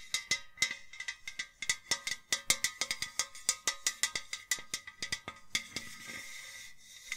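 Long nails rapidly tap a tall, hollow, empty white enamel-coated metal milk can with handles, giving about 34 quick, bright metallic clicks with a short high ring near 2 kHz. Near the end, the taps give way to a brief, steady, hissing rasp before one last tap.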